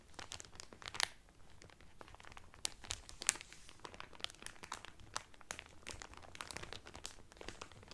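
Fingertips and nails crinkle the clear cellophane wrapper around a blue Carnival cotton towel folded flat inside. The result is a steady stream of sharp, bright crackles and crisp snaps at an uneven pace, with a few louder pops standing out over a soft, hissy bed.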